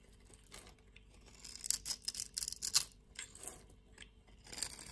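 A metal utility blade scrapes and cuts the scored surface of a solid pink-and-white striped bar soap held in the palm, shaving it into flakes. The quiet, crisp scraping comes in short bright bursts with almost no low end, loudest and densest in the middle of the clip and returning at the end.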